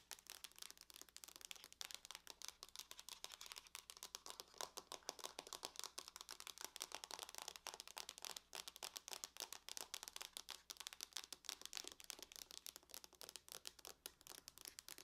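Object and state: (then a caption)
Aluminum laptop lid. Long nails tap rapidly and continuously on the lid of a closed silver aluminum laptop. The result is a quiet, steady stream of dozens of crisp, bright clicks, each dying away almost instantly.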